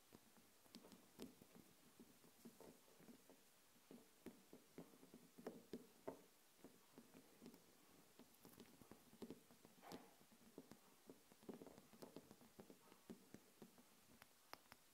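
Long nails tap quickly and irregularly on a small wax-filled glass jar candle with a glass lid, which stands on a table. The sound is a quiet, pattering stream of short, crisp clicks with a brief low-mid glassy body and bright edges. Each tap dies away almost at once.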